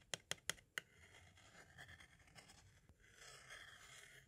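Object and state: Plastic audio cassette.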